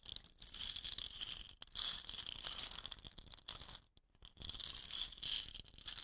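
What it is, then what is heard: Wooden rain stick. Fingernails tap the body of a hollow, dot-painted wooden rain stick with rattan ends, and then the stick is turned in the hands. The result is a bright, hissing patter of rattling fill that concentrates around 3.4 kHz, with very little low end. It comes in waves that briefly go quiet near 1.6 seconds and again around 4 seconds before surging back.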